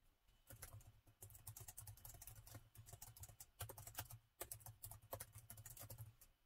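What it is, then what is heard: Laptop keyboard with plastic keys. Fingertips type quickly on the black plastic keys of a gold metal-look laptop with a hollow body, with brief use of the touchpad. The result is a steady patter of light, bright clicks and soft thumps over a low hum.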